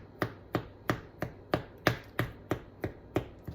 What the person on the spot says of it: tap on it if it sounds hollow then it's done